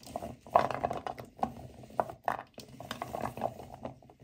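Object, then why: Natural cork wine stoppers in a bowl. Both hands rub and squeeze a pile of dry, solid natural cork wine stoppers in a white bowl. The result is a dense, irregular run of soft squeaky creaks and muffled knocks, centered in the midrange, with a few louder squeaks standing out. Each sound dies away almost at once.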